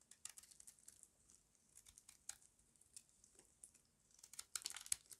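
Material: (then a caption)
Soap. A small metal blade scrapes and carves curls off the corner of a solid square bar of dry white soap held in the palm. The sound is a quiet, irregular series of crisp, bright crunching and crackling scrapes with almost no low end. The scrapes grow louder and denser toward the end.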